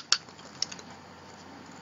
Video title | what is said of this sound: Bland Designs- Mini Acrylic Pour | there's a ball in them and I'm shaking it up here you can hear the ball inside